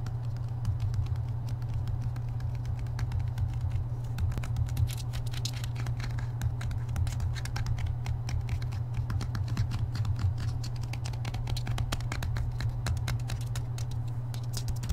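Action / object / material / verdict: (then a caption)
tap / hardcover book with paper dust jacket / paper / none. Fingertips and nails quickly tap and scratch the front cover of a thick, solid hardcover Harry Potter book with a glossy paper dust jacket, held upright. The result is a dense, continuous patter of short, dry clicks and bright scratchy strokes over a steady low hum.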